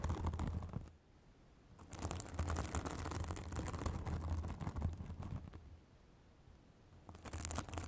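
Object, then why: Synthetic fibrous bath sponge. Long acrylic nails scratch a white, fibrous synthetic bath sponge held above a microphone. Dense, crackling scratching comes in bursts over a steady low rumble, with two quieter pauses between them.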